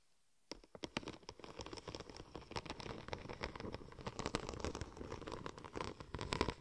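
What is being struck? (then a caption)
Textured vinyl wrap film rolled into a tube. Long gold and red nails scratch and tap along the raised tread pattern of a large sheet of silver checker-plate-pattern vinyl wrap film curved into a hollow cylinder. After a brief near-silence, a quiet, dense stream of rapid dry clicks and crinkly scratching runs continuously, with sharp bright ticks over a hollow, papery rustle.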